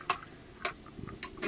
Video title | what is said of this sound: Colonial Club Condominium Seawall - Boynton Beach Florida | you can hear the hollow sound